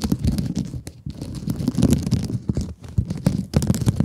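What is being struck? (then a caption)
Plastic mesh scrub sponge. Long nails scratch across a rectangular blue mesh scrub sponge held close to the mic. The result is a dense, continuous crackling and rasping texture, heavy in the low end, with quick scratchy strokes and brief brighter crinkly bursts.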